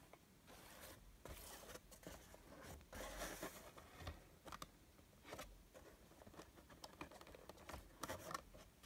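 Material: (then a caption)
Cardboard. A small, hollow, closed printed cardboard Funko Pop box with a window, holding a Super Saiyan Rose Goku Black figure from Dragonball Super, is handled on a stone countertop and tapped and scratched with fingertips and nails. Quiet, dry taps and bright scratchy rustles come in irregular bursts, each dying away instantly with no ring.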